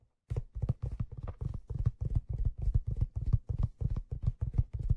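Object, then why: Leather fedora crown. A black leather fedora, held tilted with its hollow crown and brim, is tapped on the crown by fingertips. After a brief silence, quick, uneven runs of soft, dull, low thumps follow one another, each dying away almost at once with little brightness.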